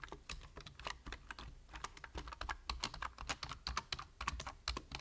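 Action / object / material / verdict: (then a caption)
tap / plastic computer keyboard / plastic / none. A full-size black plastic computer keyboard is typed on with the fingertips at a slower pace. Short, crisp key taps come in an uneven, steady run, each a bright click over a soft low thud that dies away almost at once.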